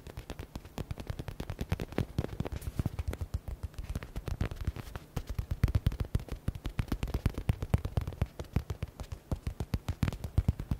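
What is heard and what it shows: Fingers and nails rapidly tap a soft, yellow stitched smiley stress ball with a synthetic faux leather cover. The result is a fast, steady stream of short, dull, low thumps with little ring and almost no high sound, some taps louder than others.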